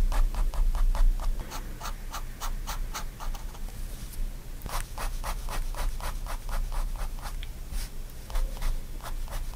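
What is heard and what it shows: A fine pen tip scratches rapid hatching strokes across a paper sketchbook sheet. The short, bright, dry scratches come in a quick, uneven rhythm of about two to three strokes per second over a low, steady background hum.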